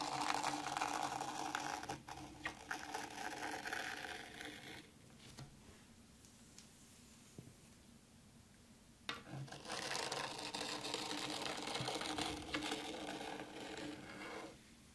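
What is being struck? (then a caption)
Fine sand in a tray, raked with a small wooden rake. A small wooden rake is dragged through fine white sand in a black round tray to draw parallel lines. Two long stretches of bright, grainy scraping hiss are heard, from the start to about 5 seconds and again from about 9 to 14.5 seconds, with a near-silent pause between them.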